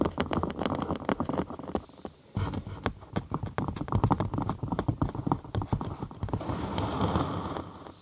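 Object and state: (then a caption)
Cork sheet. A thin cork sheet, curved into a large half-tube over a binaural microphone and hollow underneath, is tapped and scratched with long acrylic nails. Quick, uneven clicky taps with a dull, boomy low body come in dense bursts, a brief pause, then more tapping. The clip ends in a softer, steadier scratching rustle.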